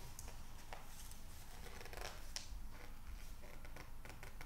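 An open glossy psychology magazine with thin printed pages is held in both hands while the fingertips rub, squeeze and turn the pages. Quiet, crinkly paper rustles come through with scattered short, bright ticks over a steady low background hum.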